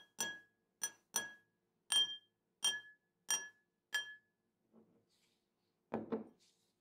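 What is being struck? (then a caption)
Drinking glass struck with a metal spoon. A metal spoon taps a drinking glass seven times, each tap a short, bright, ringing clink that fades quickly. A faint soft sound follows, then a duller, lower double knock near the end.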